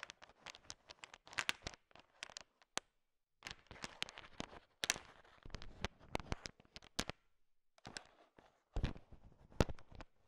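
A thin wooden stick stirs and taps a bowl filled with a heap of small, hard, sugar-shelled peanut M&Ms, mixing the candy-coated peanut chocolates. The result is bursts of dense, bright rattling and clicking as the shells knock together, separated by short silent pauses, with a few sharper clacks standing out.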